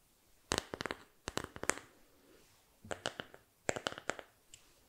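A small, flat, solid bamboo board is held in both hands close to the mic and scratched and tapped with fingertips and nails. Quick bursts of dry, bright clicks and taps come in short clusters separated by near silence. Each sharp tap dies away almost instantly.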